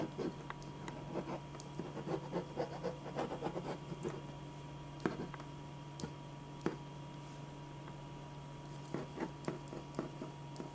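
A black pen scratches short sketch strokes across a single thin white sheet of drawing paper lying flat on a dark board. Quick, dry scratching bursts come in irregular clusters, busiest in the first few seconds and then sparser with pauses, over a steady low hum.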